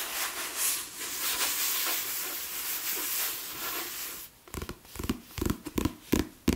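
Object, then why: Paperback book with glossy card cover. Steady broadband hiss of palm rubbing a glossy card cover, then a run of soft, dull taps.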